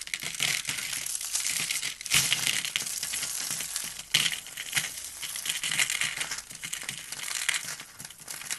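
Both hands squeeze and crush a hand-sized, carved blue-and-white dry soap rose, solid with thin layered petals, into brittle flakes, then rub the flakes between the fingers. The sound is a dense, bright crackling and crunching with almost no low end, centered around 2.9 kHz, with sharper, louder snaps near 2 and 4 seconds. It settles into a softer, grainy crinkle as the flakes are rubbed.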